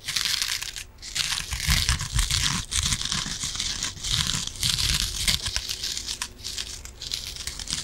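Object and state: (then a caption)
Foam kitchen sponge with scouring pad. Long nails scratch along the green scouring layer of a yellow foam kitchen sponge. The result is a dense, bright, raspy scratching that rises and falls in uneven strokes, with soft low thuds underneath.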